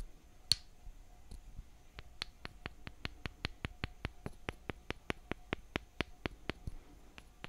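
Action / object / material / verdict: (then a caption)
tap / small wooden mallet and thin wooden stick / wood / none. A toy-sized, light wooden mallet held in one hand taps a thin, solid wooden stick held upright in the other hand. After a sharp first knock and a short pause, a rapid, steady run of light, dry, bright taps follows, each one clipped with almost no ring.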